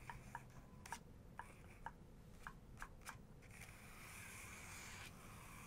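Long nails on the paper page of an open photography book showing a full-page photo. Sharp, bright clicks with a short pitched ring come spaced apart over the first three seconds, then give way to a steady, scratchy hiss as the nails trace across the page.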